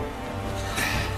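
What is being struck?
Nothing is struck.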